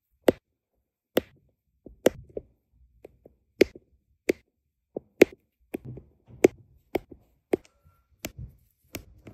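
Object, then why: Resin drills and plastic drill pen on adhesive canvas. A plastic drill pen with a metal tip repeatedly taps small, solid, round resin diamond painting drills down onto a flat adhesive canvas. Each tap is a short, crisp, dry click that dies away instantly, with a bright top. The taps come at an uneven pace, with faint soft rustles in between.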